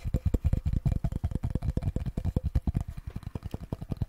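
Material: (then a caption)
Wood. A small solid wooden cutting board with a handle is held in both hands and tapped and scratched with fingertips and nails. About 30 rapid, uneven taps sound as dull, low, woody knocks with a short hollow tone, each dying away almost at once.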